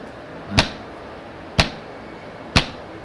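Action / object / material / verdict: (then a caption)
knock / table top / unknown / none. Three knocks on a table top, spaced about a second apart, each a short sharp rap with a brief low thump and almost no ring. A faint steady background hiss fills the gaps.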